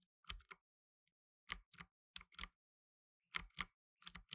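Fingertips in blue nitrile gloves type steadily on a black tenkeyless mechanical keyboard with plastic keycaps. Bright, crisp key clicks come in short clusters separated by brief silent pauses, and each one stops almost instantly with very little low end.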